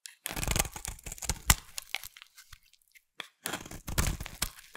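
A yellow, solid, hand-sized bar of soap is held in one hand over a pile of soap shavings and scraped and carved with a metal utility knife blade, shaving off crumbly flakes. Dry, crunchy scraping and crackling bursts come in two busy runs with a quiet pause between, each cut a short crisp crack with bright, gritty edges and no ring.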